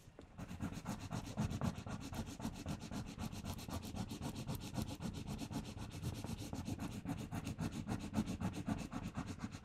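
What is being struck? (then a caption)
Paper sticker on a thin paper sheet. A 'LOVE' letter sticker on a flat, thin pink paper sheet is rubbed firmly with fingertips and long painted nails while the other hand steadies the sheet. The result is a steady, rapid run of scratchy rubbing strokes, about four per second, that sound dull and low-heavy, with short bright ticks on each stroke.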